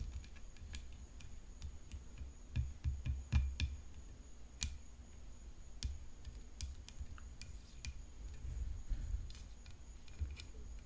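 Long fingernails tap on the hollow composite frame and throat of a graphite composite tennis racket decorated with rhinestones. Quick, irregular clicking taps come at a steady pace, each with a sharp bright tick and a short dull low knock underneath. The taps sit over a quiet low rumble and a faint steady high tone.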